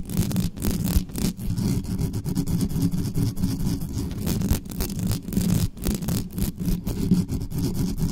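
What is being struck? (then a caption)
Metal mesh microphone grille. Long nails on both hands scratch quickly up and down the hollow metal mesh grille head of an uncovered black condenser microphone. The result is a dense, continuous rasping scrape that is heavy in low, boomy rumble, with brief bright crackles flickering throughout.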